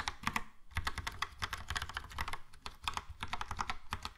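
Both hands type fast and continuously with their fingertips on a Logitech POP Keys wireless keyboard, which has a yellow plastic frame, round dark grey plastic typewriter-style keycaps and hollow key switches. The result is a dense, steady stream of short, sharp plastic clacks with a hollow, low thock beneath bright clicks, each keystroke dying away almost instantly.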